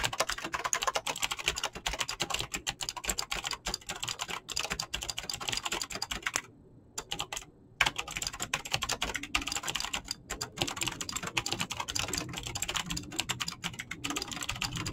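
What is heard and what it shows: Fingertips with painted nails fast-type on a full-size Razer BlackWidow mechanical keyboard with clicky green switches, pink-blue dyed PBT plastic keycaps and a hollow plastic case. Rapid, bright, crisp clicks and clacks patter in dense bursts. There is a brief pause just before the middle before the fast typing resumes.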